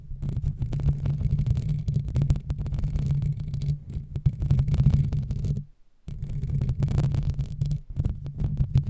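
Fingernails and fingertips of both hands scratch a black foam microphone windscreen, producing a dense, muffled, rumbling rustle concentrated in the low range. The scratching continues steadily, stops briefly for a moment of near silence just before the six-second mark, then resumes.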